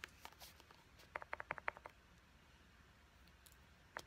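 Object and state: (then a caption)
Plastic pump bottle. Long nails tap quickly on a small white plastic pump bottle with a purple pump top, striking both the bottle body and the pump. A few faint taps lead into a rapid burst of about eight sharp, dry clicks, then a pause and one last tap at the end.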